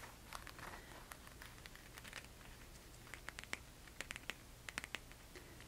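A silver rhinestone flat thong sandal with a tan leather footbed is held up while long red nails tap and scratch along the jeweled straps and the insole. Quiet, soft scratching gives way to sharp, bright clicks with a ringing tick near 1.8 kHz. The clicks cluster toward the end of the clip over a low, steady background hum.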